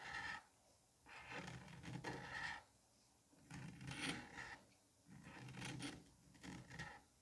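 A metal curette tip scrapes and rasps across the surface of a palm-sized solid dome of green kinetic sand. Repeated gritty, grainy strokes carry a bright hiss over a soft low body, separated by short, quiet pauses.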